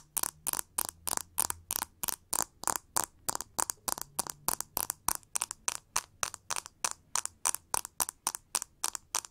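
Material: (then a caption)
Plastic. Long nails scratch and tap a pink plastic paddle brush with a textured back and ribbed handle. About 40 short, dry, bright scratching bursts repeat quickly and steadily across the clip, each stopping abruptly with no ring.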